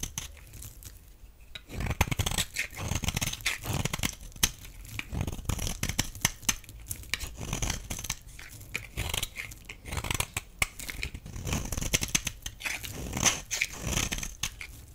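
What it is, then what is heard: Dry bar soap scraped with a blade. A metal utility blade scrapes a solid, rectangular, dry blue bar of soap, shaving off brittle flakes. Repeated dry, crunchy rasps sound in bursts, with bright crackling over soft low thumps and brief quieter gaps between strokes.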